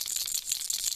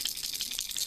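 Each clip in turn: First: Quick, bright clicking from a shaken plastic lure, the internal knocker ticking high with almost no ring. Second: A quick run of bright, high clicks as a hard plastic lure is shaken, its loose rattle ticking inside.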